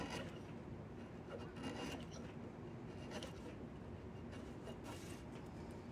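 A chisel scrapes along a long, solid diamond willow walking stick held across the lap, making a steady, continuous rasping rub. The scraping is low-heavy and fairly quiet, with brief brighter bursts of wood texture as the blade drags.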